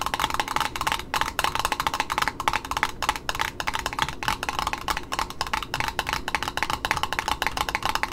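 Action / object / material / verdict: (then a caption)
tap / satin ribbon roll on a cardboard spool / cardboard / none. Long pointed nails tap rapidly on the cardboard end disc and edge of a small red satin ribbon spool held in the hand. The result is a steady stream of quick, dry, clicky taps with a woody, hollow tone around 860 Hz and bright edges, each dying away almost at once.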